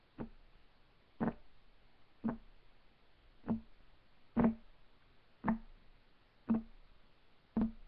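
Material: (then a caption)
Wood. Fingertips of both hands tap rapidly on a solid, flat, light wood desk top. The clip holds eight short, dull knocks spaced about a second apart, each with a low woody thump and a quick decay.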